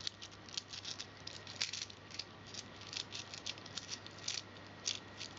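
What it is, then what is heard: Handful of metal coins. A handful of small solid metal coins is held in cupped hands and shaken, with more coins lying on the carpet below. The coins rattle and clink together in quick, bright, high bursts that die away almost at once. The rattling comes in uneven clusters over a faint steady low hum.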